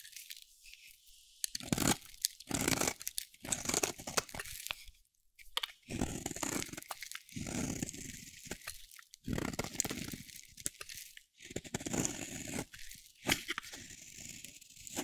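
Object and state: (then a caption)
Dry soap bar. A solid, dry yellow soap bar held in the hand is shaved with a metal utility blade, giving repeated crunchy, bright scraping strokes. Each stroke is dry and crackly, with short quiet gaps between passes and no ring after each cut.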